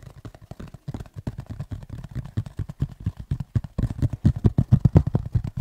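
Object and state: Textured tablet folio case.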